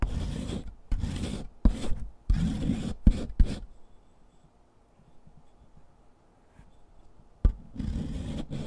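A solid gray chalk stick is grated back and forth by hand on the metal rasp of a purple foot file, piling gray powder onto cardboard. Rough, low-heavy rasping comes in quick bursts with short gaps, then falls to near silence for about four seconds before a sharp scrape starts the grating again.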